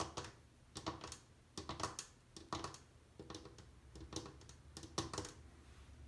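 Long painted nails tap along the rim and the back edge, near the metal faucet, of an empty white glazed ceramic bathroom washbasin. Quick, light, clicky taps come in uneven bursts about once a second, each a bright tick with a short, faint ring.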